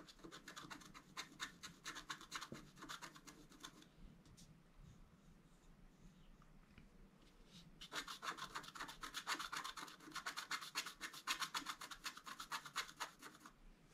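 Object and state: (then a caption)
Scratch-art card being scratched. A flat, thin, solid A4-size scratch-art card with a black coating is held on a table with one hand while the other hand scratches the coating with the pointed tip of a thin wooden stylus. Quick, bright scratching strokes come about four per second for roughly four seconds, then drop to a quiet rustle, and resume in a longer, louder burst from about eight seconds to near the end.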